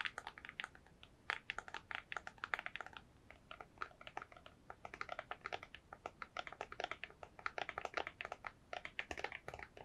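A small, hollow white printed cardboard box is held in both hands close up and rapidly tapped with long nails. The result is quiet, dry, crisp clicks in fast, uneven flurries, bright and papery with almost no low end and no ring, with brief lulls near the middle.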